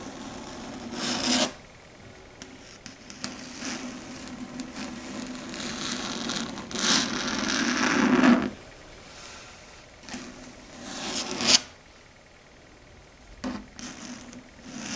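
Long red stiletto nails scratch and drag across a flat, solid dark grey chalkboard surface. The result is a series of harsh, raspy scraping strokes with bright, high squeaks. Longer drags swell and end sharply, with quieter scratchy pauses between them.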